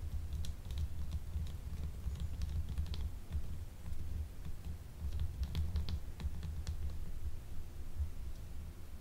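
Long nails tap on a small, solid, translucent blue gemstone soap bar held upright in both hands. Light, bright clicking taps come in quick irregular bursts over a steady low hum, each tap dying away almost at once.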